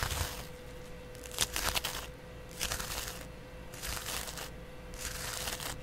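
A flat, palm-sized yellow cellulose sponge with a porous, textured surface is held in one hand and scratched with a double-edge razor blade in the other. Each stroke gives a short, bright, crinkly rasp, with quieter pauses between them, over a faint steady hum.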